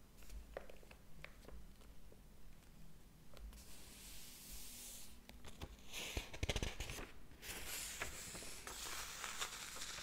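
Fingers rub across and flip the paper pages of a large, thick hardcover book lying open on a table. Soft papery brushing and scattered light ticks give way to louder bright rustling and crinkling swishes as pages turn, with a faint low hum underneath.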